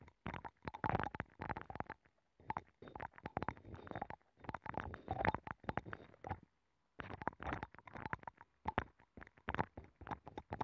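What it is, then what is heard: Abalone shell scraped and tapped. A wooden stick scratches and taps inside a hollow abalone shell with a nacre interior, mounted on a microphone. Quiet, close bursts of dry scratching and quick taps come in clusters separated by brief silences, with a hollow mid-range resonance.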